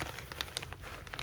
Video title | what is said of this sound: Vera Haul and Update on Custom Vera Tote (watch till end for thoughts)!! | it sounds like plastic it sounds cheap